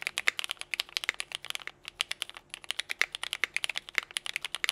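Fingertips from both hands type continuously on a compact 60% Nika S mechanical keyboard with a teal case, Cherry Vintage Black switches and white and pink GMK KA2017 ABS keycaps. Rapid, crisp plastic clacks land in quick succession, bright and dry with no low thump, and there is a brief lull near the middle before the typing picks back up.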